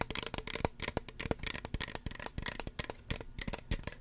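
A small, hollow red plastic spray bottle with a white plastic cap is tapped with fingernails in a quick, irregular series of about twenty taps. Each tap is a sharp, dry click with bright, high clatter and a little low thump, dying away almost instantly.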